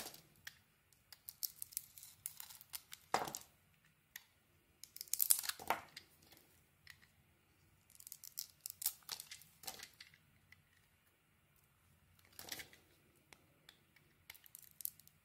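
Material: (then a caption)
Soap. A solid purple-swirled bar of soap with a green core is held in hand and scraped and carved with a metal knife, cutting off curls. Quiet, bright, dry scraping and crisp tearing strokes come in irregular bursts with short pauses between them, with no ringing after each cut.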